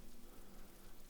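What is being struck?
Nothing is struck.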